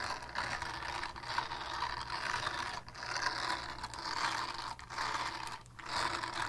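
Long painted nails rapidly scratch across the textured face of a small, flat, solid purple silicone scrubber pad. The result is a dense, continuous scratching rasp centered in the mids with bright high hiss, broken by a few brief dips where the strokes pause.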